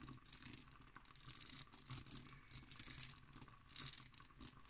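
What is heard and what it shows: An empty, hollow hobnail-pattern cut glass decanter with its stopper is tapped and scratched with long green nails. The result is quiet, bright, rattling clicks and scratchy friction in irregular bursts, with little low-end and a short ring after each tap.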